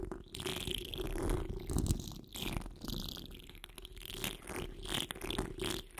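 Long acrylic nails on both hands scratch a hollow wire-mesh microphone grille. The result is a steady, uneven rasping with a deep, rumbling low end and bright, crackly scratches on top, swelling and fading as the nails move across the mesh.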